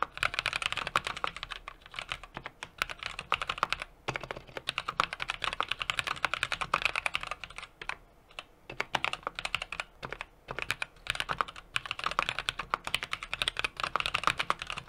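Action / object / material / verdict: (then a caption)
tap / mechanical keyboard, aluminium case with brass plate and plastic keycaps / aluminium, brass / none. Fingertips of both hands type rapidly on a small 60% mechanical keyboard with an aluminum case, brass plate and plastic keycaps. The result is a dense stream of sharp, bright clacks with almost no ring and little low end, broken by brief pauses near 4, 8 and 10 seconds.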